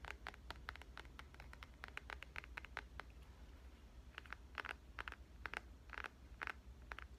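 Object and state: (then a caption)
Smartphone tapped with fingernails. Long painted nails tap and lightly scratch a black smartphone with glass surfaces and a metal frame, held first in one hand and then in both. Quiet, crisp clicks centered around 1.5 kHz with bright edges fall in irregular clusters, each dying away almost instantly. A steady low hum runs underneath throughout.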